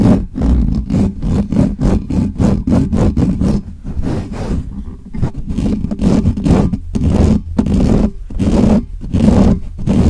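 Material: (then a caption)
Metal mesh. Fingertips and nails of both hands scratch fast and hard across the bare, hollow metal mesh grille of a black microphone. The result is a rapid run of rough, scratchy bursts with a heavy, boomy low hum under each stroke, broken by brief gaps and a slower stretch near the middle before the quick scratching resumes.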